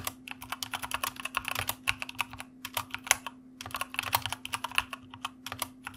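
Fingertips of both hands type rapidly on a white plastic mechanical computer keyboard, producing a dense run of short, bright clicks and clacks with irregular pauses. Each keystroke is sharp and dies away almost instantly, over a faint steady low hum.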